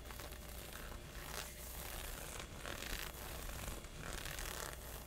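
Fingertips and short nails scratch and rub across thin, textured synthetic honeycomb legging fabric stretched over a thigh and hip. The result is a steady, bright, crackling scrape with a rough zipper-like texture and a low rumble beneath. It pulses in repeated strokes with no clear silences between them.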